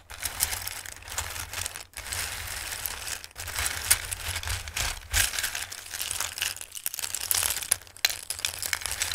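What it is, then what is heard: Dry pasta shapes being shuffled. Fingertips with long nails rub, shuffle and occasionally scoop through a bowl of raw dried pasta shapes. The result is a dense, bright, crisp rustling and crinkling, broken by a few brief pauses.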